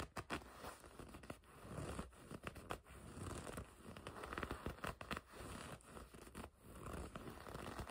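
Long red nails scratch and grip the black leather panel on the front of a black and red leather racing jacket. Quiet, dull scratching and creaking rubs come in uneven bursts, mostly soft and low with little brightness. The sound carries on steadily throughout.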